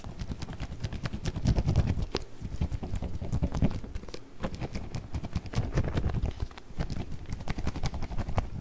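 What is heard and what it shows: A small round clear plastic food container with a blue lid, partly filled with orbeez, is shaken by hand, then held close to the mic and tapped with fingertips. The result is a dense, continuous stream of soft, rapid rattling clicks and dull low thumps with very short decay, mostly bass-heavy with faint bright ticks on top.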